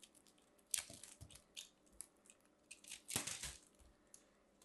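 A metal craft knife carves and scrapes a small purple ball of compressed soap shavings, solid and crumbly, held in the fingers, cutting off crunchy flakes. The result is a quiet series of crisp, bright crunching and scraping bursts with little low end, the two strongest cuts landing near the start and just past the middle.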